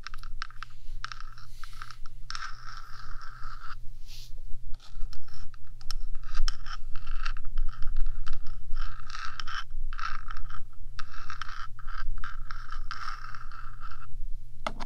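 Long nails on one hand scrape and scratch the top of a 3Dio microphone's black, hollow metal housing, making dense, continuous scratchy rasps with a bright band around 1–2 kHz. A steady low hum sits underneath throughout, and the scratching swells and thins in bursts without clear pauses.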